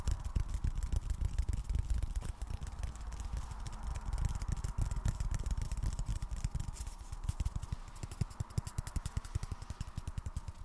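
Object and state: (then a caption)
Cardboard tapping. Fingers tap on cardboard in a quick, steady stream of soft, dull taps with a low, hollow thump. The taps are short and dry, with no ring after each one.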